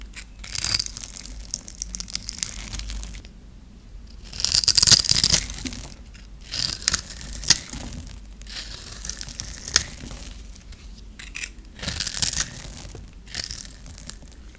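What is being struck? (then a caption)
Bar of soap cut with a metal blade. A dry, solid pink bar of soap held in the hand is grid-scored and shaved with a metal blade, and crisp cubes break off. Bright, dry crunching and crackling scrapes come in irregular bursts with short quiet gaps between them.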